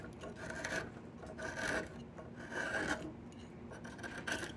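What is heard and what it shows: A wide steel chisel scrapes the surface of a solid, bark-peeled section of diamond willow stick in four slow, repeated strokes. Each stroke makes a dry, raspy scrape with a mid-pitched squeaky band and bright, hissing texture, separated by quieter pauses.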